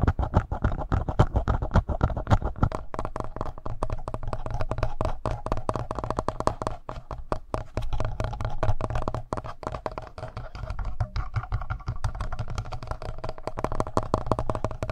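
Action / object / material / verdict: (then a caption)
scrape / plastic handheld audio recorder / plastic / none. Fingernails scratch the mic capsules of a hollow black plastic Tascam handheld audio recorder, then fingertips tap its front panel. The result is a dense, irregular stream of close, rapid scratches and soft taps with a heavy low-end thump and almost no ring. It stays at a fairly steady level throughout.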